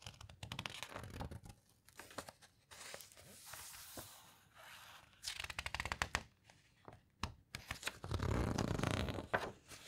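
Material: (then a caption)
Glossy paper. Fingers flip and squeeze the glossy paper pages of an open hardcover guitar book. Crisp, papery rustles and quick flicking snaps come in uneven bursts, with crinkly scraping between them. The longest, fullest swell of rustling comes near the end.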